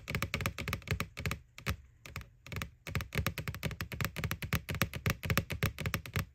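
Long nails tap quickly and unevenly on the side wall of a small hollow white plastic ghost Halloween candy bucket from McDonald's, right over its printed face. Each tap gives a dry, hollow knock with a low body and a crisp clicky top that dies away almost at once. The tapping runs in rapid bursts with a few short pauses early on.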